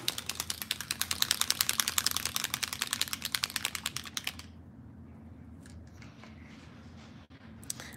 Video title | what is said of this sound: Free Spirit Beading with Kristen Fagan: Make Bead Jewelry With Vintaj Patina Paint & Beading Wire | you hear that little ball rolling around